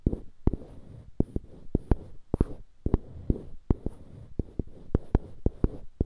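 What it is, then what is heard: Solid light-wood blocks on wooden handles. Fingertips rub and scratch two identical solid light-wood cubes mounted on dark-wood handles, one held in each hand. A soft, low, scratchy rustle runs throughout, broken by about twenty short, dry clicks that die away almost instantly.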